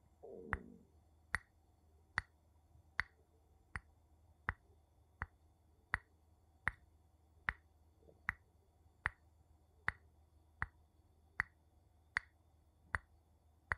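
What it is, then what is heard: Glass object tapped with a wooden spoon. A wooden spoon taps a glass object at a slow, steady pace of about one tap every 0.8 seconds. Each tap is a short, dry click with a brief bright tone near 2 kHz that dies away almost instantly. A soft low rustle comes just before the first tap, and a faint low hum sits underneath throughout.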